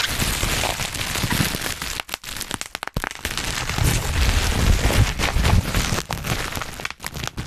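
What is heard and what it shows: A large sheet of black plastic bubble wrap is bunched over the microphone while fingertips pinch and pop its bubbles. Sharp, bright cracks come in a rapid, uneven stream over constant crinkling and a heavy low rumble of handling, with a few brief pauses between bursts.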